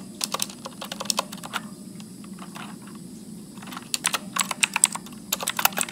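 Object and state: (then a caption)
Plastic mechanical keyboard. Fingertips type continuously on a backlit Motospeed mechanical keyboard with blue switches and plastic keycaps as text appears on screen. Sharp, bright clicks come in quick bursts, ease into softer, sparser taps in the middle, then pick up again, over a steady low hum.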